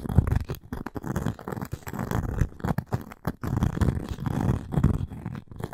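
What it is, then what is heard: Cork and wood coaster. Long nails scratch the cork face and edge of a round cork coaster with a wooden rim, handled up close. The sound is a dull, low, rough scraping in uneven bursts with brief silent gaps and a short, dry decay.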